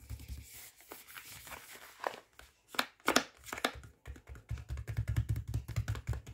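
Fingertips tap and scratch across the front of a full, flexible plastic microwave rice pouch lying flat. The result is an uneven run of crinkly, papery scratches with short bright rasps and soft, dull low thumps. The taps grow denser and heavier toward the end.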